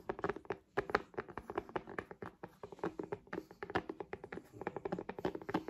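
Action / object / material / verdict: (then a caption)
tap / tablet in a plastic folio case / plastic / none. Long acrylic nails rapidly tap the back and cover of an iPad-sized tablet held upright in a solid purple plastic/faux-leather folio case. The steady, irregular run of quick, dry, clicky taps has a hollow mid-range tone around 400 Hz, very little bass, and almost no ring after each tap.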